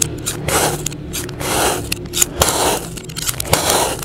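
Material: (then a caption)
Sand. A utility knife blade slices thin layers off a solid, palm-sized mound of yellow kinetic sand, with a blue sand dome sitting untouched nearby. Each stroke makes a soft, gritty scraping hiss that swells and fades, broken by small crisp ticks as the blade cuts through the granular sand.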